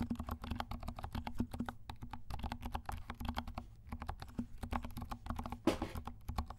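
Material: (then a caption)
Plastic. Fingertips of both hands type on a compact 68-key mechanical keyboard with dark plastic keycaps and silent switches. The result is a steady stream of soft, muffled, low-heavy key taps with little brightness, and one louder, brushier tap near the end.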